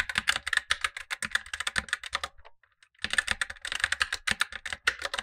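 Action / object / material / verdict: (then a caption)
tap / plastic mechanical keyboard / plastic / none. Gloved fingertips type continuously on a black tenkeyless Razer BlackWidow Lite mechanical keyboard with tactile switches and plastic keycaps, while a second keyboard below sits idle. Rapid, crisp, bright plastic clacks run in a dense stream, pause briefly near the middle, then resume just as quickly.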